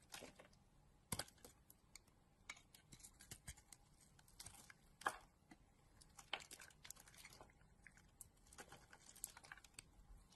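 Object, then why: Bar of soap scraped with a metal blade. A hand-sized, solid pink bar of soap with a dark blue coating is held in a hand with long dark nails while a metal blade scrapes across it and shaves off flakes. The sound is a quiet run of dry, crisp scraping and bright crackling clicks, with a few sharper snaps standing out as flakes come away.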